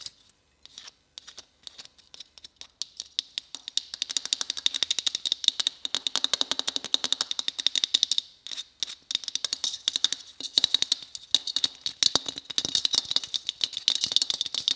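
Long red acrylic nails tap and scratch a small, hollow, white matte Christmas bauble with a faceted geometric pattern hanging on a tree; it is most likely shatterproof plastic, though it could be glass. Sparse taps at the start quicken into dense flurries of bright, dry clicks with almost no ring, pitched high around 3.7 kHz, with a brief pause near the middle before the rapid tapping resumes.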